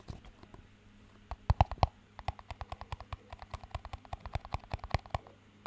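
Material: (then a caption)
Plastic. A small, empty clear plastic cup with a green band around it is held in both hands and tapped and scratched with fingertips and short nails. Faint scratching opens into a quick series of soft, dull taps, each a low thump with a brief hollow midrange tick that dies almost instantly. The sound stays quiet and close.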